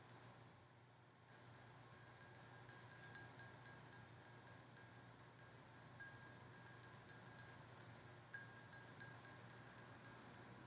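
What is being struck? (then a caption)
Glass goblet candle holder. Long painted nails tap the bowl of a large, empty red-and-gold mercury-glass goblet-style candle holder. After a quiet opening second, a quick, uneven series of light, bright glassy clinks rings high and fades fast, over a steady low hum.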